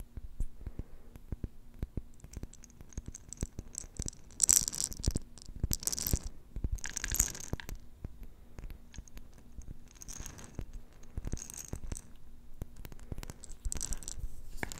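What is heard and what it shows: A small round clear glass jar with a silver metal lid, filled with pink plastic beads, is tapped and scratched by long manicured nails while held close. Many quick, sharp taps and bright scratching swishes come through, with the beads rattling softly inside, over a low steady hum.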